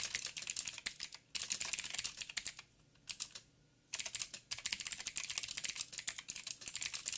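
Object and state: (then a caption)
Mechanical keyboard with plastic keycaps. Fingertips of both hands type rapid taps on a backlit mechanical keyboard with black plastic keycaps on a silver frame and a hollow housing. The keys give bright, crisp clacks that die away almost instantly, with almost no low end. Steady bursts of typing are broken by a few short pauses, the longest in the middle.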